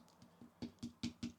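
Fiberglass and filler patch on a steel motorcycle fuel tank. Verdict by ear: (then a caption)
Loose. Seven knocks on an old fiberglass and body filler repair on a steel motorcycle fuel tank, the first two faint and the rest louder, each a short, dull, hollow tap around 240 Hz that dies away almost at once. The repair is loose: it hasn't taken and is moving.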